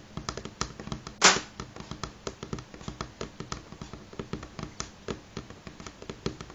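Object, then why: Pine wooden tabletop. Fingernails of both hands tap quickly on a solid light pine tabletop, producing about 25 short, bright, dry clicks with a woody knock underneath and very little ring. One much louder, broadband hit stands out near the start.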